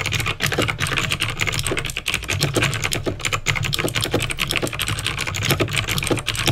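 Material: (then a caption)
Plastic. Fingertips type quickly on a backlit plastic mechanical keyboard with clicky green switches. A dense, steady stream of sharp, bright clicks and clacks sits over a faint low rumble, each keystroke dying away almost instantly.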